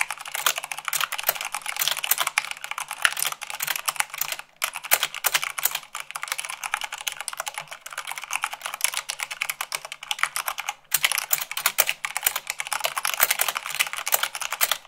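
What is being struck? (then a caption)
Mechanical keyboard with plastic keycaps. Long acrylic nails type fast on a full-size mechanical keyboard with white plastic keycaps on a black base. A dense, steady stream of bright, sharp plastic clicks and taps plays for the whole clip, pausing briefly twice.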